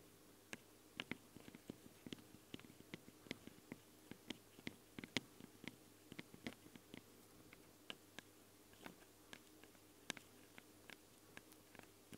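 Long blue nails slowly tap and scratch the small knurled-rim metal microphone capsules on a Tascam recorder, giving about thirty sharp, bright, dry clicks that stop instantly. Soft scratchy rustles fall between the taps over a faint, steady low hum, and the whole clip stays quiet and close.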